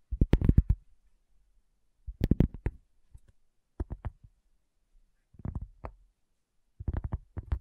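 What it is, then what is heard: Cork coaster. Long fingernails tap slowly on a solid, round, flat cork coaster, producing short, dull, low knocks with almost no ring. The taps come in about six quick clusters separated by brief silences, each cluster a soft, muted patter with a faint brighter tick on some strikes.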